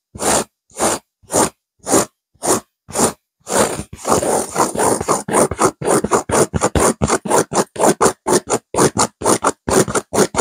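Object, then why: Velvet-covered stuffed cushion. Long fingernails on both hands scratch a stuffed pillow with a blue velvet cover and a cream petal-shaped burnout pattern. Evenly spaced, raspy strokes with brief gaps come first, then speed up into a dense, rapid run of bright, scratchy rasping that continues to the end.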